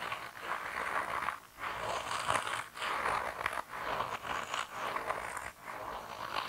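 A hand-sized grey rubber mouse toy with a tail, soft, solid and flexible, is squished and rubbed with thumbs and fingertips. It makes continuous squelchy, rubbery friction and squeaking in the midrange with a bright high hiss, in sustained bursts separated by brief quiet dips.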